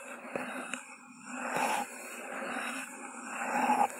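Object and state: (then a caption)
Paper cup scratched and tapped. Long glossy nails scratch and tap along the hollow sides of an empty white paper cup with a green grass print, set upside down over a microphone. Two sharp taps open the clip, followed by swelling, hollow, papery scratching with a resonant mid-pitched tone and a faint bright hiss.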